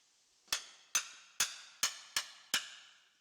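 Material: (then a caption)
Stone. A hammer taps six times on rock in a dark, damp cave wall, testing whether the stone is suitable for making ink stones. Each strike is a sharp, bright click with a short high-pitched ring that fades quickly, with no low thud.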